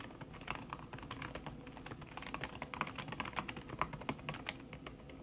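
Fingertips with long red-painted nails type fast on a thin backlit aluminium keyboard whose plastic keys sit under a red silicone skin. The result is a steady, rapid stream of soft, dry, short taps with brighter clicks scattered throughout and no ringing between strokes.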